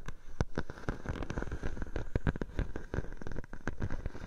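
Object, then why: Plastic bubble wrap sheet. A clear plastic bubble wrap sheet draped over a microphone is scratched and pressed by long nails. The result is a dense run of short, sharp crackles and pops over a close, low-heavy rustling, with no ring after each snap.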